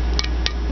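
Three short, bright taps ring out over a steady low hum as someone taps the black, glossy surface of a piece of countertop granite that was melted with a torch and has cooled. Each tap gives a brief glassy click with a tone near 2.3 kHz, and the sound confirms the surface has turned to glass.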